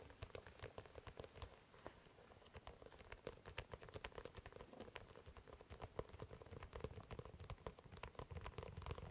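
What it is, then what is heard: Leather dress shoe. Fingertips drum rapidly on the leather upper and sole of an empty glossy black leather dress shoe, held close and then off to the side. The result is a quiet, continuous patter of soft, short taps with a low thump under crisp bright clicks, like light rain on a surface.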